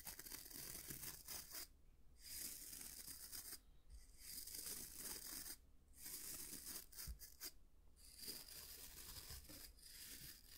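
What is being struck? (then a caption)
Wooden-backed bristle brush. Fingertips scratch and flick the dense natural bristles of a small, palm-sized oval brush with a solid light wooden back, held in both hands. The result is a quiet, bright, rasping bristle scratch that runs in continuous stretches, broken by short pauses near 2, 4, 6 and 8 seconds.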